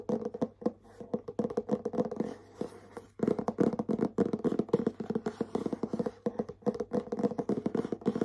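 Short nails tap and scratch on the back of a medium, hollow, printed cardboard bath set gift box. The result is a dense, irregular run of quick, dry taps with soft scratching between them, each hit dying away almost instantly. The sound carries a hollow mid-range body and brief bright clicks, with a short pause near the three-second mark.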